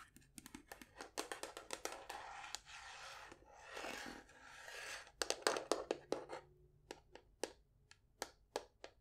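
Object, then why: Wooden folding chess box. A hollow, painted wooden folding chessboard case is held horizontally and tapped with long nails on its top and sides. The result is quick, irregular, bright, hollow clicks, broken up by a few seconds of dry, scratchy rubbing in the middle.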